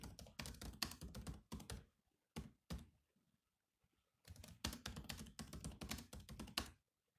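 Fingertips type on the black plastic keys of a silver laptop keyboard, producing quick bursts of dry key taps that each pair a low thunk with a bright click. A run of fast taps is followed by two isolated taps and a near-silent pause. A second burst of typing then stops cleanly, with each tap dying away almost instantly.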